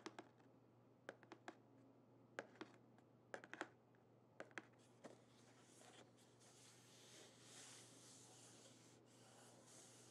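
Long painted fingernails tap the lid and sides of a small, flat, hollow printed cardboard Birchbox gift box with its lid closed. Sharp, dry clicks come in quick little clusters over the first five seconds. A softer, steady scratchy hiss follows, over a faint constant low hum.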